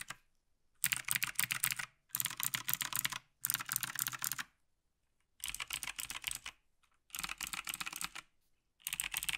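A black plastic Logitech G PRO TKL tenkeyless mechanical keyboard is tapped by one gloved hand, then typed on with two gloved hands. Six bursts of rapid, bright, clicky keystrokes are separated by short silences. Each click is sharp and dies out almost instantly.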